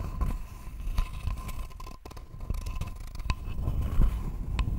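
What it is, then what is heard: Wooden board being scratched. A thin, flat, rectangular wooden board is scratched with long nails close up, giving dry, rough scraping strokes over a low rumbling hum. Sharper clicky scratches stand out along the way, and the overall sound is dull and low-heavy with brief taps that die away quickly.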